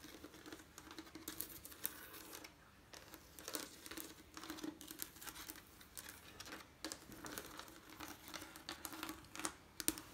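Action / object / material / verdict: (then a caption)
tap / leaded stained glass window / glass / none. Long painted nails and fingertips tap and scratch a leaded stained glass window of coloured, textured diamond glass panes set in lead cames, including a painted bird pane. Quiet, rapid clicks and bright scratching rasps come in uneven bursts with brief pauses, over a faint steady tone near 316 Hz. Each tap dies away almost instantly.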